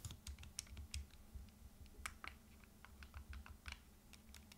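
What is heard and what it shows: A turquoise Nintendo Switch Lite, a small, solid plastic handheld game console with a glass or plastic screen, is held in both hands while the thumbs repeatedly press and click its plastic buttons and analog sticks. The result is quiet, rapid, bright clicking taps that die away almost instantly, over a steady low hum.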